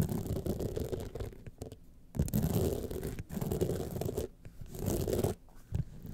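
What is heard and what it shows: Long painted nails from both hands scratch over a small, rigid gold clutch wallet standing upright and covered in a grid of rhinestones. Dense, gritty scratching and scraping comes in steady bursts with a low, rumbling body, broken by brief quiet gaps near 2 seconds and again around 4.3 and 5.5 seconds.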